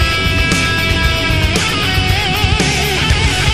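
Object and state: Nothing is struck.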